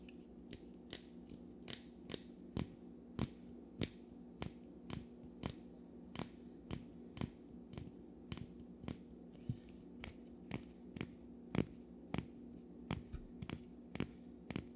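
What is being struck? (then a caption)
Metal waiter's corkscrew. A small metal waiter's-friend corkscrew is held in the hands while fingers handle, click and scrape its folding parts. About 26 short, sharp metallic clicks ring out with bright tops and almost no ring, spaced fairly evenly over a steady low hum.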